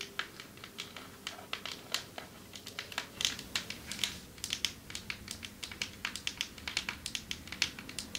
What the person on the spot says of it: Long nails tapping on marble table 6:33 - 10:18